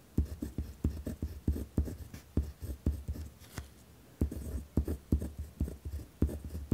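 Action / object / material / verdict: scrape / pen on paper notepad / paper / none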